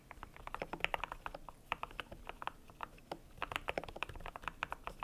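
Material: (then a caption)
PBT plastic. A cream compact mechanical keyboard with PBT plastic keycaps is typed on with fingertips, producing a rapid, uneven run of short, crisp plastic clacks. The keystrokes are bright and dry, with little low end and almost no ring after each press. There is a brief lull near the middle before the typing picks up again.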